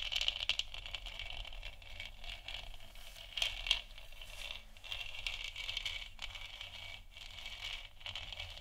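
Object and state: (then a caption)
Plastic moon lamp scratched and tapped. Long nails scratch and tap the textured surface of a large, hollow, 3D-printed plastic moon lamp sphere that is lit white. The result is a steady, bright, dry scratching texture centered around 3 kHz, with sharper tap accents near the start and around 3.5 seconds.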